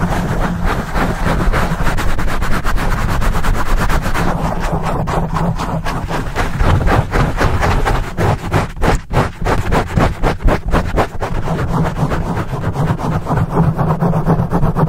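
Both hands grip a black foam microphone windscreen, rubbing and scratching it fast with the fingertips. The result is a dense, boomy run of rapid scratching and rustling strokes, heavy in the low end with little high content, louder and choppier in the middle stretch.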